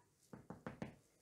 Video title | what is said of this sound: Roggenmischbrot mit Sauerteig - Brot backen ohne Hefe leicht gemacht - Thermomix TM6 TM5 TM31 | wenn es so klingt perfekt